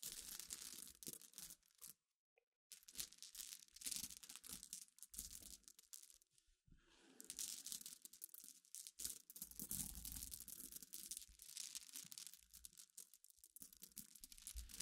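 Fingers with long nails rake and scratch through a pile of small clear solid glass pebbles resting on a black cloth. The result is a dense, bright stream of clicking, crunching rattles, with a brief silence near two seconds and a quieter dip around six seconds before the scratching picks up again.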